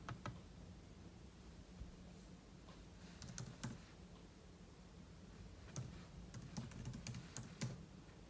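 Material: Plastic.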